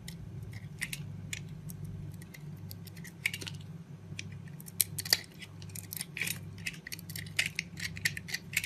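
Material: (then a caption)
Soap. A utility knife blade carves and shaves pieces off a yellow and white solid soap bar held in the hand. Crisp, bright scraping and cutting strokes come in quick, uneven bursts over a steady low hum.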